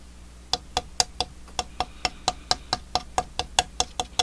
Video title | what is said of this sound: Growing Trees On Mars, Part 6, The Bonsai Zone, Jan 2019 | it sounds like a ceramic tile or a clay pot actually